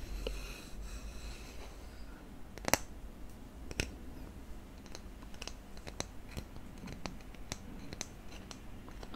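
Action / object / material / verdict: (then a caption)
tap / thin wooden spatula / wood / none. A thin, flat, solid wooden spatula, held upright in one hand, is tapped and scratched with fingertips and nails close to the microphone. Quiet, scratchy rustling runs under a series of short, dry, bright clicks and taps that die away almost instantly, with the sharpest tap a little under three seconds in.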